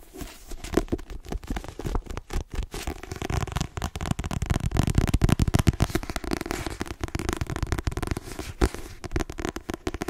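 A blue, solid paperback book with a glossy cover, held in the hand, is tapped rapidly with long nails on its cover. The result is a dense, steady stream of quick, dry, low-weighted clicks and soft thuds with almost no ring.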